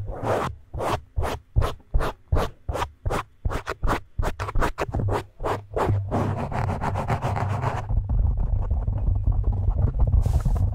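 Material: Foam.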